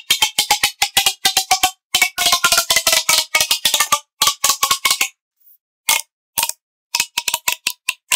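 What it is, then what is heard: Plastic pop tube toy. A hollow, finger-thick blue corrugated plastic pop tube toy has its ribbed sections pulled and pushed by hand with pink-nailed fingertips. This makes quick, bright pops and clicks in rapid bursts, broken by short pauses. Each snap is dry and short, with almost no low end and no ring.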